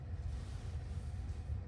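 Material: Nothing is struck.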